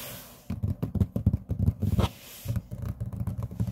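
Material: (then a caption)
Laminate. Fingertips and short nails rub and scratch across a large, flat, solid grey laminate tabletop. A quick series of dull, low, muffled scratching strokes starts after a brief quiet lead-in, pauses for a moment, then continues more softly.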